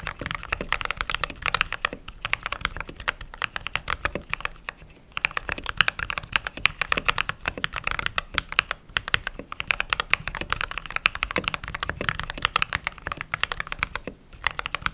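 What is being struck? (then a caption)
Mechanical keyboard with plastic keycaps. A full-size white/cream mechanical keyboard with plastic keycaps, sitting solid on a desk mat, is typed on rapidly with long pink-painted nails and fingertips as keys are pressed and tapped. A dense, steady stream of short, bright clicky keystrokes runs throughout with very little low end, each tap dying almost instantly. Brief pauses come around 5 and 14 seconds.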